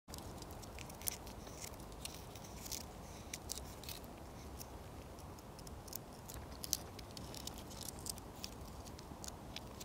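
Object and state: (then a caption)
Pine tree bark. Fingertips and short nails scratch and tap the rough, thick, flaky bark of a solid, living pine tree trunk, with a metal ring on the finger close to the bark possibly adding contact sounds. Dry, bright scratches and scattered sharp little ticks sit over a steady, quiet low rumble. The taps are short and dead, with no ring after them.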